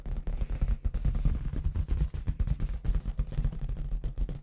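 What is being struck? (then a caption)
Inflated latex balloon with confetti inside. A clear, hollow, inflated latex balloon with a little red confetti inside is held in one hand and tapped rapidly with long red acrylic nails. The taps come as a quick, uneven run of short, deep, muffled thumps with almost no high end. Each one dies away almost instantly.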